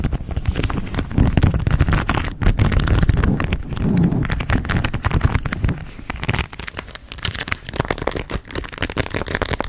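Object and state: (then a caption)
Pearl and rhinestone beaded baseball cap. A pearl and rhinestone embellished baseball cap with a stiff brim is held close to a microphone while long red nails scratch and tap its beaded crown and brim. The result is a dense run of quick clicks and scratchy crackles over a low, rumbling, bassy body. The sound grows fuller in the middle and thins toward the end.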